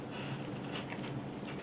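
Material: Nothing is struck.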